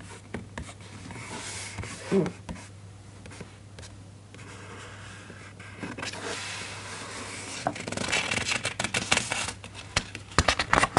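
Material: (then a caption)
Paper. A fingertip traces the printed paper illustration on an open hardcover children's book, held at the same spread, then the hand moves toward the page edge. Soft, dry rubbing and scraping sit over a steady low hum, with a few sharper scratches along the way. Toward the end it turns into brighter, crackly rustles near the page edge.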